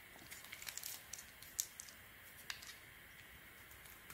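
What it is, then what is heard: Bar of soap being shaved. A small metal craft blade shaves and scrapes thin slices off the rim and face of a solid oval, light blue, blue-marbled soap bar held in the palm, with soap chips piling up below. About thirteen quiet, crisp, bright scraping cuts with crackly snaps come at an uneven pace over a soft steady hiss, each dying away almost instantly.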